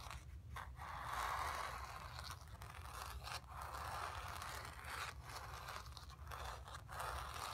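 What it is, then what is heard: Painted canvas being scratched. Long nails scratch across the painted fabric of a stretched canvas, making a soft, continuous dry scraping and rustling. The quiet scratching strokes are broken by brief pauses and ride over a steady low hum.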